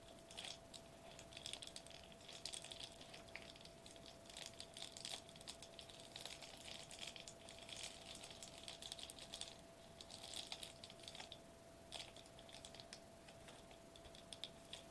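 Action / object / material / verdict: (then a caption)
tap / metallized plastic bubble wrap sheet / metallized plastic / none. Fingertips and short nails of both hands tap rapidly on a flat silver metallized plastic bubble wrap sheet lying on a white table. The result is a continuous stream of quiet, crisp, bright clicks and crinkly taps in uneven bursts over a faint steady tone.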